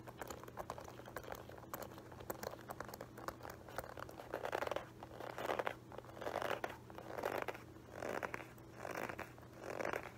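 Fingertips and nails scratch and tap the textured upper near the metal horsebit buckle of a dark embossed Guess leather loafer, held up hollow and empty. Dense crinkly scratching fills the first half, then gives way to louder, separate bursts of rough scraping about once a second, bright and dry with no ring, over a steady low hum.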